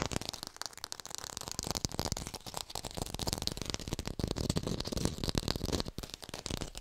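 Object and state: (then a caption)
Fake plastic tomato. Long pink nails tap rapidly on an artificial red tomato held in the hands, making a fast, continuous run of dry, crackly clicks. Each tap has a dull low thump with a bright, short snap that dies away almost instantly.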